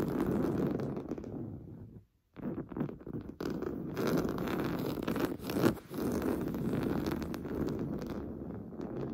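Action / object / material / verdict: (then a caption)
scrape / woven fabric pillow / fabric / none. Fingernails scratch quickly and roughly across the top surface of a large stuffed cream pillow made of fine-weave fabric. The result is a dense, dull, muffled scratching with most of its energy low to mid, and very little brightness. It stops briefly just after two seconds, swells near the middle, dips again, then continues steadily to the end.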